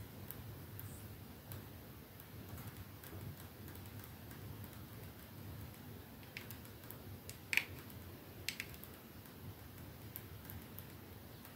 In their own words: ASMR | Slow tapping on a perfume bottle 🌸